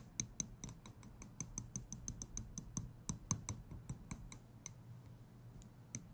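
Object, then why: Small steel tweezers. Small steel tweezers have their tips clicked and flicked with fingers, producing 23 quick, sharp metallic ticks in an uneven rhythm. Each click is short and dry, with a bright, high metallic edge over a soft low thump, and the taps thin out briefly before a final few.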